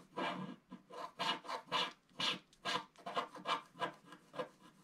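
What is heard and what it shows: A wooden stick scratches the coating near the bottom edge of a flat black wax-coated scratch art paper card held in one hand. About ten short, dry rasping strokes repeat at an uneven pace, each a bright, papery scrape centred around 1 kHz with a hissy top and very little low end. The strokes stop dead with no ring between them.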